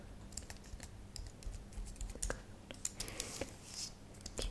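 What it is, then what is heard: Plastic computer keyboard. A thin white and silver computer keyboard with plastic keys, lit purple and solid, is tapped slowly with long nails and fingertips. The result is a run of short, dry clicks with bright edges over a low hum, and each click dies away almost instantly.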